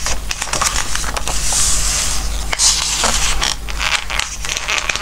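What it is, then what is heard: Glossy paper book pages. Fingertips stroke and rub the glossy coated pages of a softcover Christmas book and turn the pages. The result is a dense run of bright, crackly paper rustles and swishes over a steady low hum.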